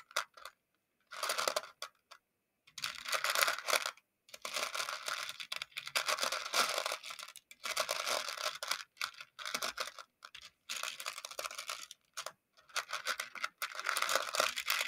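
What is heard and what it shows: A makeup brush handle stirs and scratches through a shallow round clear plastic container full of small colorful plastic pony beads. Bursts of dense, bright clicking and rattling come in uneven waves, separated by short silent pauses.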